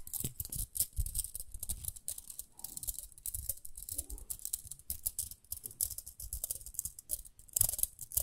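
Long nails scratch along the rim of a small, round, pink plastic hairbrush, making a dense run of quick, bright, crisp scratches and ticks. Soft low thumps sit underneath, and a brighter flurry comes near the end.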